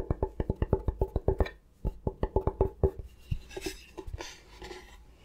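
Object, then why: Bamboo chopping board. A thin, solid bamboo cutting board, held upright by its edge, is tapped quickly with fingertips on its flat surface. Rapid runs of short, dry knocks with a hollow tone near 390 Hz come in two bursts separated by a brief pause, then thin out into softer, brushier taps.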